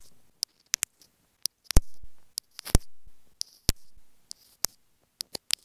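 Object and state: Plastic inline earphone microphone, fingernail tapping.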